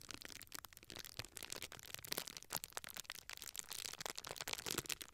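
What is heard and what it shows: A small rectangular sheet of clear plastic bubble wrap is held in both hands while fingers and nails pinch and crinkle the air-filled bubbles along its top edge. A continuous, quiet, bright crinkling is heard, dotted with sharp, quick-dying clicks and crackles, mostly high in pitch with little low end.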